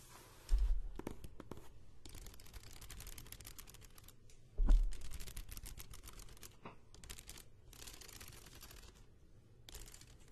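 A medium spiral-bound paper notebook with a cardboard cover is held upright in one hand while long painted nails tap and scratch its cover and edges. Two sharp taps stand out near the start and middle, followed by steady, dry scratching with brushy high hiss over a low rumble. The notebook stays solid and unchanged throughout.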